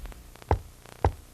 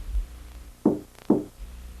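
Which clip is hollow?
The second.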